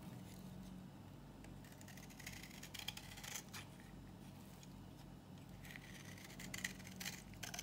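A solid, dry green bar of soap is held in the hand and scraped and shaved with a knife, curling off in layered, crumbly strips. Quiet, dry scraping rasps come in bright bursts over a steady low hum, with sharper crisp scratches toward the end.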